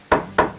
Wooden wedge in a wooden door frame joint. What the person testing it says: これが打ち込まれると中に当たったという合図が来ます